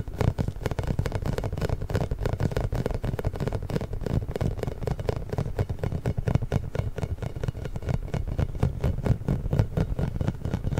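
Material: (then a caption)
Rubber. A large pink inflated hollow rubber massage ball with small spikes is tapped and rubbed with fingertips and nails. The result is a steady stream of quick, soft, hollow thuds and scratchy taps, heavy in the low end with a dull boomy tone and almost no bright content.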